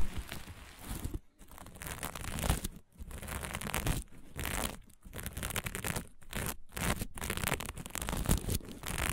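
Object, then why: Fabric patch with plastic sequins. Long nails on both hands scratch fast across a small, flat patch of fabric covered in green and blue plastic sequins. The result is a dense, crinkly scraping and rustling with a heavy low rumble, broken by short bursts and brief silent pauses.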